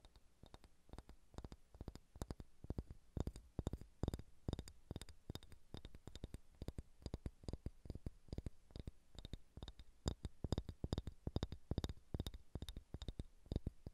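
Fingernails tap fast on a solid, pale pine wooden ball and scratch across it. The result is a steady, rapid run of short, dry clicks with a low, thumping body, almost no ring, and faint bright ticks on top, against quiet background scratching.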